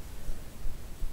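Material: Nothing is struck.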